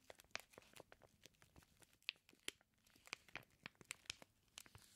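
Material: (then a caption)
Plastic film. Fingertips rub and press the clear plastic wrap sealing a flat package of raw bacon slices. It makes quiet, bright crinkling with a rapid series of sharp, dry crackles that stop instantly and carry almost no low end.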